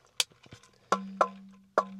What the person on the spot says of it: because this is metal, you know, when you put it down, hear how how it rings?